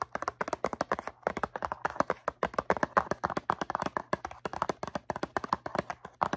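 A cardboard cotton swab box held in the hands is tapped and scratched with long nails, producing a quick, steady stream of short, dry taps centred around 1 kHz with brief scratchy bursts. Each tap dies away almost instantly, over a faint low hum.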